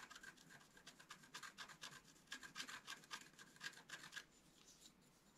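A wooden stylus scratches the coating of a flat black-coated scratch art card in quick, uneven back-and-forth strokes, about four per second. Each stroke is a short, dry, bright rasp with a thin squeaky tone around 1.6 kHz. The strokes stop near the end, leaving a faint hiss.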